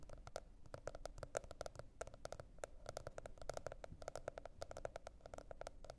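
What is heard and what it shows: Long red nails on both hands tap rapidly across a teal spiral-bound cardboard hardcover notebook. The result is a quiet, continuous patter of short, dry clicks with a hollow tone around 600 Hz, over a soft low rumble.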